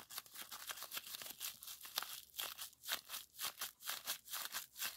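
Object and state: Plastic bubble wrap being popped.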